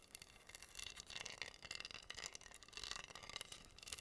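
Long nails scratch and tap pink acrylic rhinestones covering a flat, solid wooden heart board. The sound is a quiet, steady stream of bright, crisp clicks and scratchy rasps that swell and fade over the clip.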